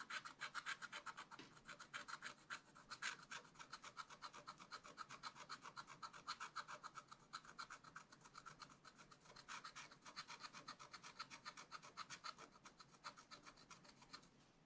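A wooden stylus rubs and scratches across a black wax-coated scratch art sheet in a small spiral pad, filling in a leaf shape. Rapid, uneven rasping strokes repeat about four times a second, with a bright scratchy texture centred near 1.5 kHz and almost no low end. The strokes continue steadily throughout the clip, swelling and easing slightly in loudness.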